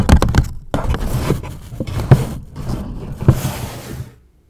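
Long acrylic nails scratch and tap near the top edges of a medium-size, hollow, grey polka-dot paper gift bag. Dull, low thumps from the taps stand out over a continuous papery scratching and rustling, which fades to silence near the end.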